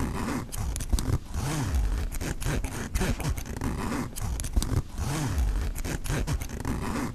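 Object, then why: Nylon backpack pocket zipper with metal pull. Fingers open and close the metal-pull zipper on the front pocket of a black mesh nylon backpack, running it back and forth along the pocket. The result is a steady run of dense, ratcheting zip strokes with a heavy low rumble under sharp, bright clicks, and the pattern of pulls repeats about halfway through.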